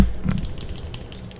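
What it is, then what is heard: Plastic clothes hanger tapped and scratched. A thin, solid green plastic clothes hanger about 40 cm wide is held in both hands close to the mic while fingernails tap and scratch along its bar and arms. The result is a run of soft, low, dull knocks with faint bright ticks and scratchy clicks, fading slowly over the clip.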